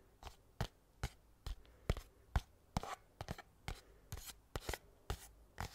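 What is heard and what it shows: Fingernails tap and scratch the top of a small, flat, hollow white cardboard mailer box held in one hand. Around sixteen short, dry taps land at an uneven pace, each with a dull, hollow low thump and a faint bright scratchy edge. They stop instantly with no ring, over quiet background hiss.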